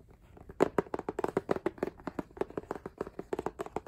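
Fingertips and nails tap rapidly on the front of a book-sized, solid K-pop album with a rigid laminated cardboard hardcover and a printed photo-collage front. The result is a quick, uneven run of over twenty short, dry taps with a muted mid-range knock and crisp clicky edges. Each tap dies away almost instantly, with no ring.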